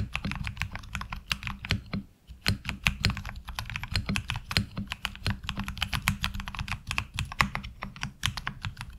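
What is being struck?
Mechanical keyboard with ABS plastic keycaps.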